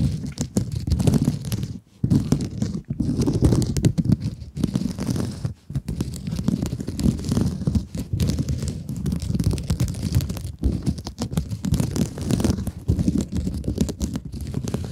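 Long nails scratch the mesh face of a rectangular blue glittery mesh scrub sponge held in both hands. The result is a dense, continuous rough crinkling and scraping, heavy in the low end, with brief pauses near 2 and 5.5 seconds.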